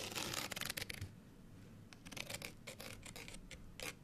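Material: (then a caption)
Paper card. A small folded printed paper card hang tag, held in both hands, is scratched with long nails. Dense, bright scratching fills the first second, a quieter stretch follows, then short separate scratching strokes return with a steady low hum underneath.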